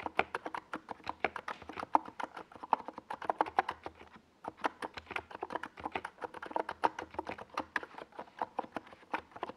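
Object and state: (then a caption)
Plastic mechanical keyboard typing. Fingertips type continuously on a small NiZ Plum Atom 68 mechanical keyboard with a white plastic case and purple and yellow Domikey Gas Attack SA plastic keycaps, resting on a desk pad. The keystrokes sound like fast, dry, hollow plastic clacks centered around 900 Hz, each dying out almost instantly. There is a brief pause around the four-second mark before the steady typing resumes.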